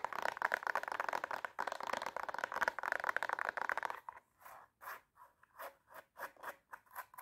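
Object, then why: Glitter fabric high heel shoe with plastic sole. Long nails scratch rapidly across an empty silver glitter high heel with a black plastic sole, making a dense, bright rasping for about four seconds. They then switch to tapping the sole and glitter upper, giving a run of short, separate clicky taps with no low end.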